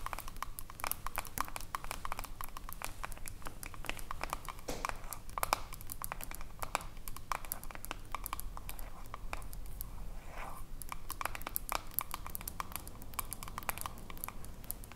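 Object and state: Glass cream jar with metal lid, tapped with nails.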